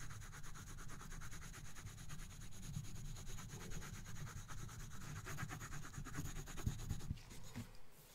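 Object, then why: Colored pencil on thin paper over a box. A colored pencil rubs across a thin paper coloring book page resting on a box in dense back-and-forth shading strokes. The result is a quiet, steady, rapid scratchy rubbing with a low, papery body and faint high hiss, which eases off near the end.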